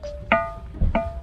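At Manueosa temple, a boulder in the stone field is struck with another stone. Two sharp strikes each ring out with a short, bell-like metallic tone rather than a dull rock knock. The stone rings like a bell, with background music running underneath.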